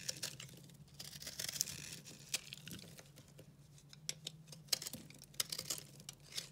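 A solid, dry, blue-green speckled recycled soap bar is held in the hand and cut with a utility knife, and chunks break off. Quiet, dry, crisp scraping and crackling is heard, bright and high-pitched, with many sharp snaps and clicks over a faint low hum.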